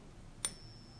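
A fake silver coin is flicked in a Pocket Pinger for comparison with a real coin's ping. A single short, faint strike is heard, with a bright, high tone that dies away almost immediately. The fake coin gives a quieter, duller tone than the real one.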